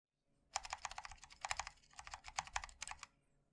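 Fingertips rapidly type on a MOD-L 60% mechanical keyboard with linear switches, a black aluminium case and white and black ABS plastic keycaps, resting on a wooden wrist rest. About 16 quick, bright clicky taps sound in a brisk run, each dying away almost instantly, with little low-end thump.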